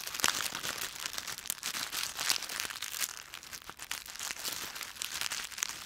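A handful of dry yellow-brown autumn leaves with stems is squeezed and crushed in both fists with the fingers. The result is a dense, continuous crackling and crunching, bright and crisp with almost no low end, swelling and easing as the grip tightens and shifts.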